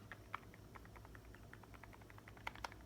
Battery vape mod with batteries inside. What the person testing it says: It's got a bit of battery rattle.